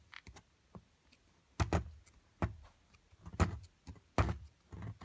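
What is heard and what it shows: A metal chisel chips and scrapes at a solid plaster block from an amethyst crystal excavation kit, piling up flakes of plaster. An irregular series of short, dull knocks and gritty scrapes is heard. Each knock is low and thumpy and dies away almost at once.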